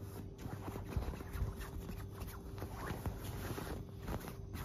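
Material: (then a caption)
Fabric. A flat hand with long black nails scratches and rubs a white, puffy quilted fabric duvet. The result is a soft, continuous, muffled rustling and scraping, mostly low and dull, with a faint steady hum underneath.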